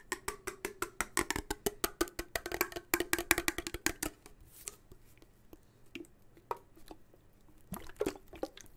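A sealed, likely full, blue-labelled Progresso steel soup can is held, tilted and tapped with fingertips and nails. A quick, dense run of short, dry taps with a dull tone near 330 Hz and bright clicky edges fills the first four seconds. It then thins into sparser, softer taps and handling, with a brief flurry of taps near the end.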